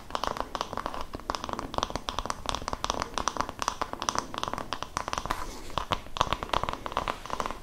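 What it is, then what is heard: Wooden massage brush. Long nails scratch and tap the flat wooden back of an oval wooden massage brush with a cream fabric strap. The result is a steady run of rapid, dry scratches and crisp clicks, centred in the midrange with a bright edge. Each sound dies away almost instantly.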